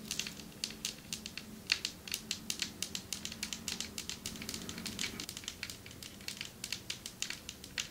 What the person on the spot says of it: Long nails tapping on marble table